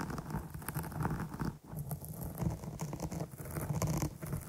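Long nail tips scratch and poke the top surface of a dark foam microphone windscreen, producing a dense, muffled crackling patter that is heavy in the low end with brief bright scratchy streaks. The rustling runs nearly continuously, dropping out briefly about one and a half seconds in before resuming.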